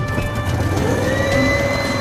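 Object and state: Nothing is struck.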